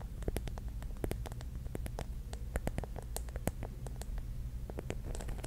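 Long nails tap and scratch the glass tiles of a pink mirror-tile mosaic mushroom cap. Quick, sharp, bright clicks and brief scrapes come in an irregular stream over a steady low hum, each tap dying away almost at once.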